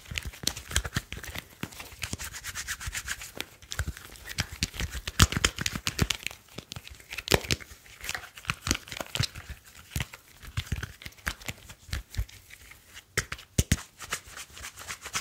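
A solid, slim smartphone with a glass screen and metal back is held in both hands while fingertips rub and tap its screen and metal edges. Dense, crisp taps and scratchy, bright rubbing repeat throughout with short, dry clicks and some soft low thumps.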